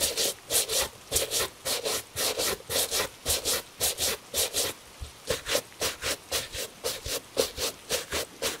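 A gloved hand brushes the upper of a tan Italian leather shoe, held in shape by a wooden shoe tree, with a horsehair brush. The result is a steady rhythm of quick, bright, hissing bristle strokes with a soft mid-range rasp. There is a brief pause just before the fifth second.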